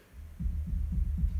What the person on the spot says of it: You can hear that coming through the speakers quite a lot less than you would in a lot of turntables.